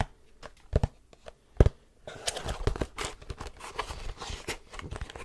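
A long, rectangular, hollow printed cardboard tripod box is held in both hands and tapped with fingertips and nails. A few sparse, dull taps with a deep, hollow thump come first, then give way to a denser, continuous patter of quick taps and scratchy crinkling across the box surface.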